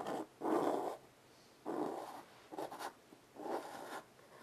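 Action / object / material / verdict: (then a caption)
scrape / chalk on a wood-framed chalkboard / chalk / none. A child draws curved shapes with white chalk on a small wood-framed blackboard resting on carpet. Short bursts of dry, scratchy strokes, centred in the low mids with a faint bright hiss, are broken by light taps on the surface and quiet pauses between them.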